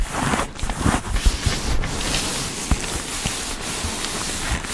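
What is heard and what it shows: Long pink-painted nails and fingertips quickly tap and scratch across the puffy quilted panels of a large black quilted soft-leather Kurt Geiger Kensington XXL handbag, hollow and padded, held upright on a table. The result is a steady dry rubbing hiss layered with soft, low, padded thumps that die away almost at once.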